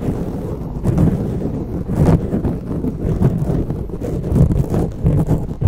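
Long natural nails on both hands scratch and rub a soft, porous grey foam windscreen covering the head of a silver USB microphone. The result is a dense, muffled, low rumbling crackle, concentrated below about 200 Hz with almost no high end. It swells and dips in uneven bursts throughout.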